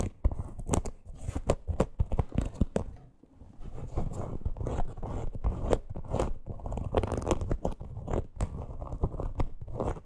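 Long green nails scratch and tap a small teal faux leather crossbody purse with a stitched parrot appliqué. Dense, crunchy scratching is broken by many sharp, dry clicks, with a brief quieter pause near the three-second mark before the scratching and tapping pick up again.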